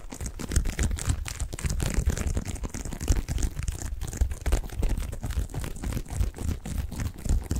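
A medium-sized white bath tub pillow covered in textured plastic mesh, soft, padded and hollow-feeling, is held in both hands and scratched and squeezed with fingertips close to the microphone. A steady run of quick crinkly scratches and rustles sits over deep, muffled low thumps from the squeezing, with faint bright hiss on top.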